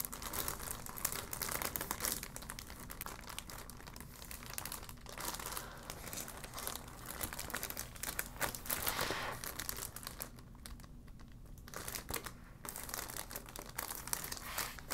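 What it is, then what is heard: Plastic packaging bag. A clear, thin plastic packaging bag with a printed insert is crinkled and rubbed with long black nails, making dense, continuous crackling that fills the high frequencies. The rustling eases briefly in the middle before building again.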